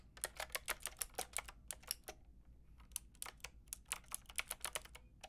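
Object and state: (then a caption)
Plastic mechanical keyboard being typed on. A Lofree mechanical keyboard with a plastic frame and round keycaps is tapped by fingertips with long red nails. Quick, bright plastic clicks come in a steady typing rhythm, pause briefly just past the two-second mark, then resume. Each click dies away almost at once over a faint low hum.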